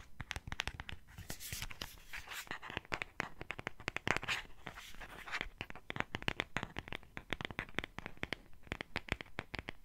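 Long fingernails quickly tap and scratch a small, hollow purple cardboard gift box printed with hearts and a Tweety picture. The result is a dense run of dozens of sharp, dry clicks mixed with bright, crinkly scratching.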